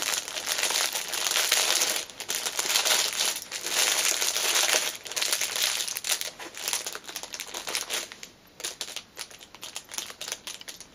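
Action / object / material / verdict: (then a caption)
scrape / fabric pouch in cellophane wrapper / cellophane / none. Long painted nails and fingertips press, crinkle and tap the clear cellophane wrapper around a small black fabric pouch lying on a fleece cushion. A bright, dense crinkling rustles almost continuously, swelling and easing in waves, then breaks into quieter, separate crackles and taps toward the end.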